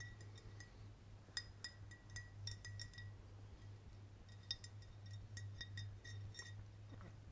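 A clear glass VOSS bottle with a silver cap, partly filled with water, is held and tapped with the fingertips, including on the cap. The result is quick, bright clinks with a high glassy ring, spaced unevenly over a steady low hum.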